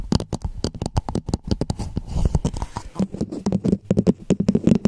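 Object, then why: Hollow plastic dome cap. Long nails rapidly tap and scratch a hollow red plastic dome cap placed over a Blue Yeti microphone. The result is a fast stream of short, dry clicks with a hollow, low body around 200 Hz, mixed with brief scratchy rasps. Each tap dies away almost instantly.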